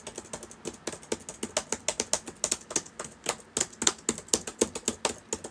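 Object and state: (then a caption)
Plastic laptop keyboard. Fingertips of both hands type on the plastic keys of a black laptop with a hollow body, open on a table. About 28 quick, separate clicks sound at an uneven typing pace, each bright and high-pitched with almost no low end and dying away almost instantly.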